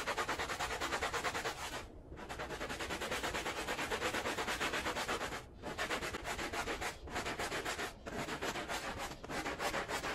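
A handheld plastic bristle brush scrubs a small patterned woven fabric rug, wet and foamy, lying flat on the floor, with firm strokes. The result is a steady, bright, hissing scrub with a fast rhythmic pulse from the back-and-forth strokes, and brief pauses between bursts of brushing.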